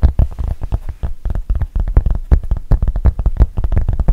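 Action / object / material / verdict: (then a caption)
tap / rubber-backed fabric mouse pad / rubber / none. Long painted nails tap and scratch quickly across the black textured rubber back of a thin, solid, rubber-backed fabric mouse pad. The result is a rapid, irregular patter of soft, dull, low thuds with very little ring and almost no bright edge.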